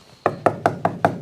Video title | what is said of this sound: I Smashed on the 69 Chevelle SS and it Broke bad! | it almost sounds like wood. They're hard as a rock.